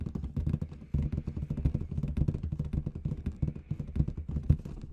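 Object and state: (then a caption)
Latex confetti balloon. Long red nails tap rapidly on a large inflated clear latex balloon with confetti inside. The result is a quick, continuous patter of deep, dull thumps with a hollow, booming low resonance and very short decay, plus faint clicky ticks on top.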